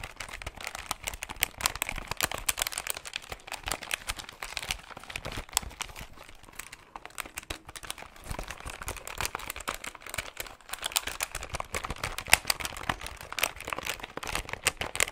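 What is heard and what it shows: Fingertips rapidly tap and press the plastic keys and hollow case of a hand-sized silver and grey plastic desktop calculator held up close. The result is a dense, continuous stream of dry, bright plastic clicks and crinkly taps that stop instantly, with no ring, for about fifteen seconds.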